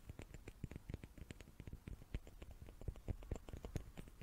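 Small wooden cubes are tapped quickly with the fingertips, making a rapid, uneven run of soft, dull knocks. Each tap is low and muted and dies away almost at once.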